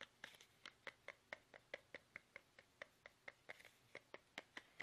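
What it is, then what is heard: Plastic toothpaste tube. Fingertips tap fast on a small, soft, hollow plastic toothpaste tube held upright in both hands. About 23 quick, dry taps come at a slightly uneven pace, each a short, bright click with a hollow tone around 2 kHz that dies away almost instantly over a quiet background.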